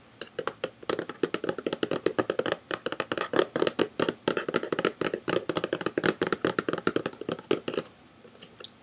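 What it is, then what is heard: Cardboard box tapped with fingertips. A small, hollow, printed white and orange paperboard box is held in one hand and tapped with the fingertips. It gives a rapid, steady run of dry, hollow, mid-pitched taps that stop near the end, followed by a couple of faint final taps.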